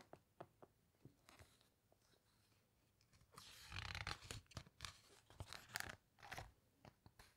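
Long nails rub and squeeze the glossy pages of a large open hardcover book, then turn one page. Soft, scattered dry ticks and scratches in the first few seconds give way to louder, dense crinkling and crunching with bright, papery rustle as the page is handled and turned.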